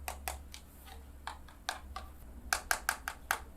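Fingertips tap eleven times on the plastic screen protector covering the navigation screen of a Carabc detachable motorcycle smart navigation system, making short, light clicks over a faint low hum. The taps sound plastic rather than glass, confirming the protector is plastic.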